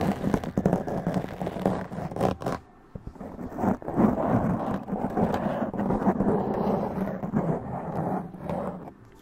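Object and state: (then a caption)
Foam microphone windscreen being scratched. A black foam windscreen on a large condenser microphone is scratched and rubbed with long press-on nails, producing dense, crackly scraping and rustling with a low-mid emphasis. The texture runs almost continuously, pausing briefly near the three-second mark before resuming and tapering off at the end.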